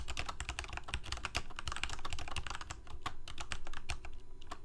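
Fingertips of both hands type rapid key presses on a full-size black plastic Corsair mechanical keyboard with lit keycaps. The result is a dense, steady stream of short, sharp clacks, each with a bright tick on top of a deep thump from the keys bottoming out.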